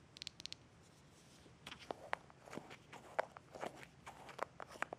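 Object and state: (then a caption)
Plastic jar. A small green plastic jar is held and turned in the hands while fingertips and nails tap and scratch its sides. Quiet, short clicks and brief scratchy rustles come in an irregular run. Nothing rings after each touch, and the overall level stays soft.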